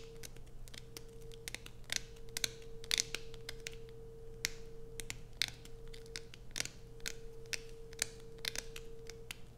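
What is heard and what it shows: Long nails scratch quickly and sharply across a solid, heavily grooved blue bar soap held in both hands, making bright, crisp clicks and rasps. A steady low hum and a faint mid tone run underneath throughout.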